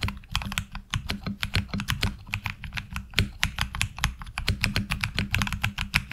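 Fingertips type on the left-side keys of a HyperX Alloy Origins Core mechanical keyboard with black ABS plastic keycaps. A fast, steady stream of short clacks, each with a low thock body and a bright click on top, dies away almost instantly.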